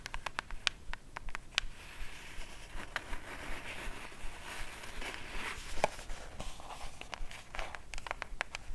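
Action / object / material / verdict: tap / small cardboard gift box / cardboard / none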